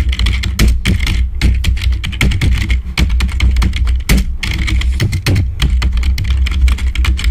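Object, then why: Plastic membrane computer keyboard. Fingertips rapidly tap the keys of a black plastic membrane computer keyboard, producing a dense, continuous stream of short, dry clicks with bright upper edges. A steady low hum sits beneath the tapping throughout.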